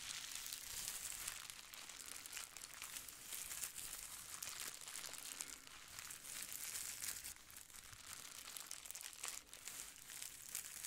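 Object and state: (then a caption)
Plastic bubble wrap sheet. A clear plastic bubble wrap sheet is held up while fingertips and nails rub and scratch across its surface. The result is a steady, quiet stream of bright, high crinkling and scratchy rustling with almost no low end, swelling and easing slightly throughout.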